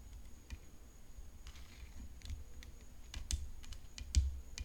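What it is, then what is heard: Composite tennis racket frame tapped with fingernails. Long nails tap the hollow composite frame of a rhinestone-decorated tennis racket resting on black cloth. The result is short, sharp, bright clicks at an irregular pace over a steady low rumble, with a couple of louder taps near the end.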